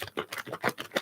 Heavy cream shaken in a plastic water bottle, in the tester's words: it'll go from splashing to just like a muffled sloshing